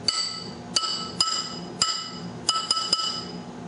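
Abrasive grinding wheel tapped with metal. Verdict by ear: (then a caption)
Sound. An old inherited abrasive grinding wheel is tapped with a metal object for a ring test, giving about eight sharp strikes. Each strike produces a clear, high, bell-like ring that decays over a fraction of a second rather than a dull thud, suggesting the wheel is not cracked. Its age is unknown, so it will not be run on the saw.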